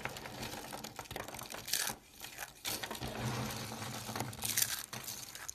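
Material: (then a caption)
Soap. Hands with long dark nails dig through a pile of small, hollow, multicolored dried-soap tubes in pastel pink, green, blue and cream, grabbing and crushing them between the fingers. The result is a dense run of crisp, crunchy crumbling and crackling with a bright, high edge, swelling into louder bursts of crushing.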